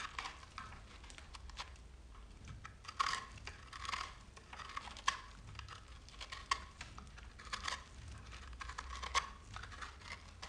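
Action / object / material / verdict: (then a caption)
scrape / bar of soap / soap / none. A solid speckled bar of soap, held in the hand, is scraped and cut with a metal knife, and crumbs fall off as it crackles. Quiet, dry scraping runs throughout with many short, bright crackles and sharp clicks that ring near 1 kHz, over a faint low rumble.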